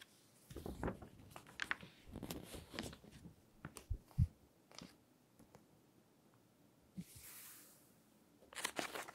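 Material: Glossy paper.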